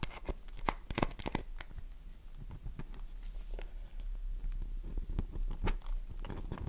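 A solid, oval, dry bar of soap is held in the hands while long nails scratch and dig into its surface, leaving crumbs behind. Quick, uneven scratches and crunchy scrapes come as sharp, bright bursts over a low, steady rumble.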